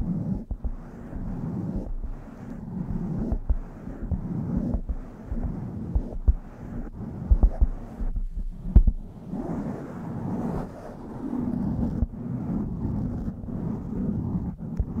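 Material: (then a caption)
Foam. Long manicured nails scratch a soft, hollow blue foam windscreen on a black USB condenser microphone, and fingertips brush over it. The result is a steady, muffled, low rustling and scraping, broken by occasional deep thumps and bumps, with almost nothing in the high range.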